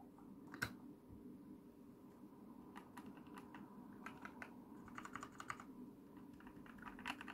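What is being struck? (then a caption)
Plastic mechanical keyboard. Long painted fingernails and fingertips type and tap rapidly on an RGB-lit mechanical computer keyboard with white and dark plastic keycaps and hollow key switches. Quick, bright plastic clacks and clicks patter irregularly over a steady low hum, with a few sharper, louder taps standing out.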